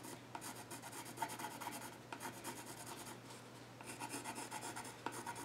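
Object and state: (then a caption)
Pencil scratching on a wooden stool top. A yellow graphite pencil scratches and shades across the flat top of a solid, dark-stained wooden child's stool. Quick rasping, bright strokes come in three rough bursts with short pauses between them, and a faint tone sits near 900 Hz. The strokes stop dead with almost no ring.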